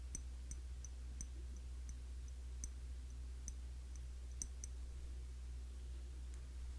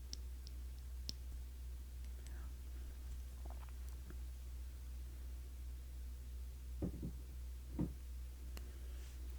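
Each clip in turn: First: glass cologne bottle. Second: plastic bottle cap.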